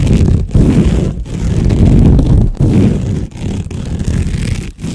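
Fingernails scratch quickly and roughly along a long cylinder covered in woven jute or sisal rope, like a cat scratching post, held in front of the microphone. The result is a dense, rustling scrape heavy in low rumble, broken by brief pauses as the strokes restart.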